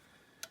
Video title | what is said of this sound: Gun Kote finishing your guns | it has a ball bearing in there like a rattle can and you just shake it up